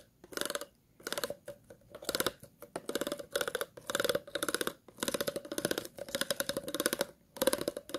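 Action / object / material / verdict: scrape / ridged plastic water bottle / plastic / none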